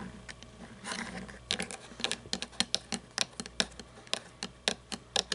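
Long painted nails tap and scratch the wheels and chassis of a small toy monster truck with plastic and chrome parts standing on a table. A soft, brushy scratching near the start gives way to a quick run of sharp, bright clicks with almost no ring, over a faint low hum.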